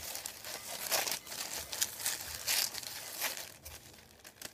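Fingertips scratch and rub a thin, folded, white printed paper sheet lying on a wooden table. It makes dry, crinkly, high-pitched bursts of scratching and rustling with almost no low end. The strokes come in quick uneven swells that stop sharply without ringing.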